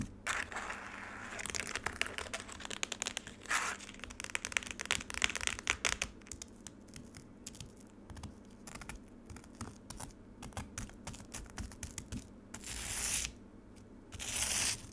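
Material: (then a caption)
Ice. Long nails tap and scratch the icy surface of a frozen lemonade slab in a black plastic tray. Rapid, sharp, bright clicks and crackly scrapes dominate, with a few louder rasping scratch bursts near the end.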